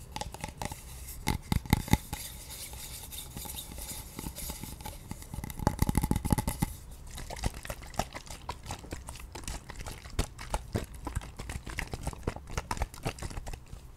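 A small plastic toner bottle with a pink label and a white cap, partly filled with red liquid, is held in the hands, tapped with long painted nails, and moved around near the mic. Dense, quick clicky taps and light crinkling handling sounds run throughout, with a few louder knocks near the start and around six seconds.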